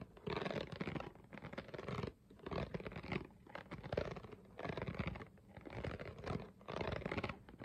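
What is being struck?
Ridged plastic water bottle.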